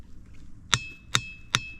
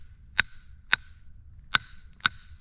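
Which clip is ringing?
The first.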